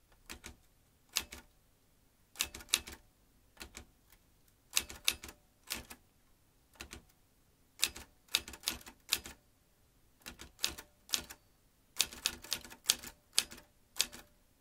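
An old manual metal typewriter with metal typebars and round keys is typed with the fingertips, the keys striking the mechanism. Short bursts of sharp, bright clacks come in uneven clusters separated by brief pauses, each strike dying away almost instantly with little low end.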